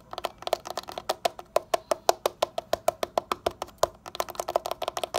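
A rough, solid concrete window sill is tapped rapidly with a fingertip and a short nail, giving 29 quick, dry taps. Each tap has a hollow, woody midrange knock near 690 Hz with a bright click on top and almost no ring. The taps come in a fast, uneven rhythm, briefly thinning out before a denser burst at the end.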